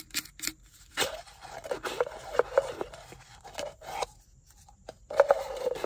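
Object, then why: Plastic car ashtray cup. Long nails tap and scratch the body and lid of a black plastic car ashtray cup, which is hollow and empty. Short, dry clicks and scraping strokes come in irregular bursts, each with a brief hollow midrange ring around 560 Hz and a thin, bright edge, at a quiet level.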